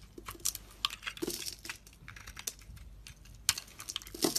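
A utility blade cuts and scrapes crumbly pieces off a solid bar of soap with a red rim and white inside, held in one hand. The result is an irregular run of short, dry, crisp scrapes and crunchy clicks, bright and high with little low end and almost no ring, some strokes louder and sharper than others.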